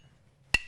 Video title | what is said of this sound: Norton Live: Choosing the best bench and pedestal grinding wheel | hopefully what you can hear is a very different noise and that is telling us there is actually a crack in this wheel we can't see it